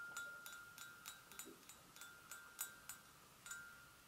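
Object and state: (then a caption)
Porcelain gravy boat. A hollow, empty white porcelain gravy boat is tapped with long nails on its rim and sides. Thirteen light, separate clicks each bring out a clear ringing tone around 1.4 kHz with bright overtones that fade quickly.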